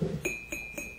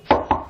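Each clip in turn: First: porcelain object. Second: wooden table.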